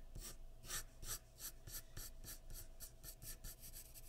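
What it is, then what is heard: Pencil shading on drawing paper. A graphite pencil, held by the fingertips, rubs and shades near the chin of a portrait on a large flat sheet of white drawing paper resting on a wooden surface. Thirteen quiet, bright scratching strokes follow one another in a steady, slightly uneven rhythm over a low background hum.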